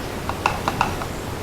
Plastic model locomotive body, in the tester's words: i'm just tapping on the plastic you can hear how old that is